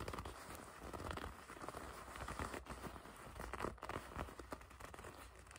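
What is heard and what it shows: A dark leather jacket is held bunched while long red nails grip, squeeze and scratch the leather near the drawstring. The result is a quiet, steady run of soft crinkling and creaking rubs, with brief sharper scratchy bursts.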